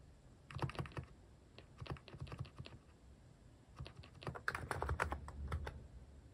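Fingertips type on a Hanmumu mechanical keyboard fitted with cat-shaped plastic keycaps, producing quick runs of short, soft clacking taps with a deep, thocky low end. The key strikes die away almost instantly. Two bursts of typing are separated by a brief pause near the middle.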